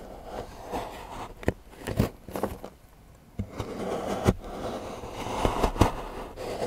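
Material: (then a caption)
Chocolate. A large steel knife shaves and scrapes the edge of a solid milk chocolate bar into curls on a patterned board while fingertips hold the bar. Soft, grainy scraping is punctuated by about eight short, sharp ticks with little ring, and a quiet, hollow lull falls midway before the scraping resumes.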